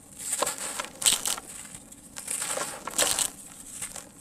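A hand squeezes and crumbles a small lump of dry sand-cement into loose dry grains in a tub, while the other hand holds a large, solid, dry sand-cement block. Bright, gritty crunches and crackles come in uneven bursts over a steady, grainy hiss.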